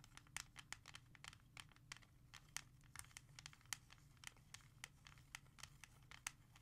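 Long red-painted nails quickly tap and scratch across the front cover of a small, hollow, hard plastic CD jewel case with a disc inside, lying flat on a leather surface. A fast, irregular run of sharp, bright clicks and short scratchy strokes is heard, each dying away almost instantly over a faint, steady low hum.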